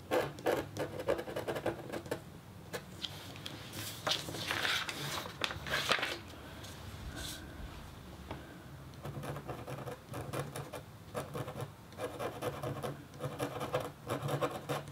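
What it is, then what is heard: Copper scratch art board being scratched. A flat, thin, solid black-coated copper-foil scratch art board is scratched with the metal tip of a red stylus. Dense bursts of dry, gritty scratching come in quick strokes, with a brighter, airier stretch in the middle and a quieter pause around 6–10 seconds before steady rhythmic scraping resumes.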